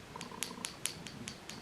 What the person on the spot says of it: There's like an agitator ball in there that shakes.